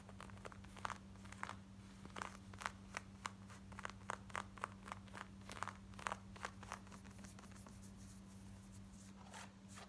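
Long nails scratch the front and pocket of worn, light blue distressed denim shorts with ripped fabric. Quick, dry, crackly scratching strokes come in rapid, irregular bursts over a steady low hum, then fade to softer rustling near the end.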